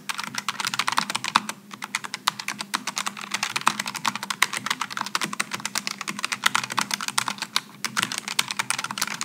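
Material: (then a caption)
Plastic. Fingertips type continuously on a Logitech G915 low-profile mechanical keyboard with aluminum and plastic keycaps and rainbow lighting. A rapid, steady stream of short, bright clicks and clacks fills the clip, with a faint low hum running underneath and brief pauses near two seconds and just before eight seconds.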